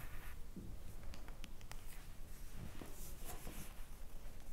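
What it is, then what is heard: Smartphone glass screen tapped with long nails. Long blue-painted acrylic nails tap and scratch the glass screen of a smartphone with a metal frame, lying flat and screen up on a wooden table. Quiet, short clicking taps and faint scratching strokes come in a loose, irregular rhythm over a low steady hum, with bright, thin streaks on the strongest taps.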